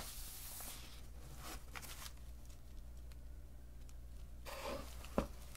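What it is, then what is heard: Paper journal pages being rubbed. Fingertips and a palm rub across the paper pages of an open handmade junk journal with a pasted map, lying flat on a cutting mat. Soft, bright papery rustles and swishes come in quiet bursts over a steady low hum, ending with a brief sharp tap near the end.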